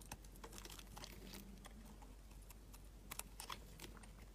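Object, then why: Glycerin soap bar shaved with a blade. A utility knife blade shaves curls from a solid translucent orange glycerin soap bar. Quiet, irregular crisp scraping and cutting ticks come in quick succession, with short bright clicks over a steady low hum.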